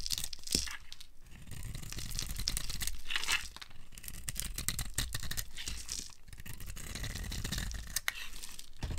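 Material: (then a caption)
Soap. A metal blade scrapes and carves crunchy flakes off a dry, solid rectangular white Ivory soap bar with a glittery coating. The sound is a steady run of crisp, crackly scraping and tearing with bright, sharp bursts over a low body. Each crunch cuts off quickly with almost no ring.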